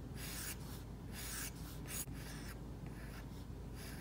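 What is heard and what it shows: An Apple Pencil's plastic tip draws short strokes across an iPad's glass screen covered with a Paperlike matte plastic film. It makes light, bright scratching rubs in repeated bursts over a low steady hum.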